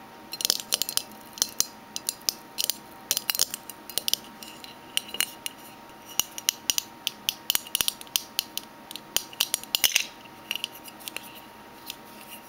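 Fingernails tap rapidly and irregularly on a metal Minteas mint tin. They make dozens of bright, sharp metallic clicks that stop almost instantly, with almost no low end. Brief pauses break up the clusters of taps.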